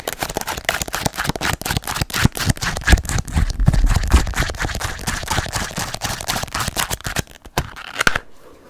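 Long nails tap and scratch quickly on the glossy card back cover of a small, solid paperback book held in the hand. Dense, irregular clicky taps mix with scratchy rustling, thudding low in the body. The sound stops abruptly near the end, leaving a brief quiet tail.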